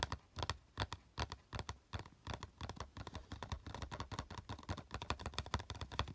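Fingertips tap rapidly across the side panel of a small, hollow, green printed cardboard box, held at first and then lying on a dark cloth. The result is a fast, irregular stream of dull, hollow taps with a strong low-end thump and only a little bright click, each dying away almost at once.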